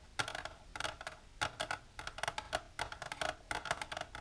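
Long natural nails with silver polish tap continuously on a plastic container. Quick, dry clicks come in rapid clusters, each short and bright with a hollow tone near the middle, dying out almost at once.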